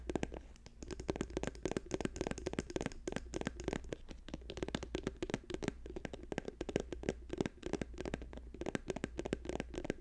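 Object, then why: Plastic squeeze tube. Fingernails rapidly tap an orange plastic cosmetic squeeze tube with a white cap, held in both hands. A dense, continuous stream of short, dry plastic clicks with a hollow body and almost no ring runs over a steady low hum.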